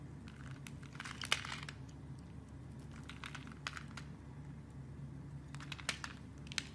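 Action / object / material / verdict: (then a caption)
scrape / bar of soap scraped with a metal blade / soap / none. A metal blade scrapes and carves the edge of a solid, hand-sized blue soap bar held in the fingers, chipping off thin slices. Quiet, crisp crackling scrapes come in bright bursts over a steady low hum, with a few sharper clicks standing out.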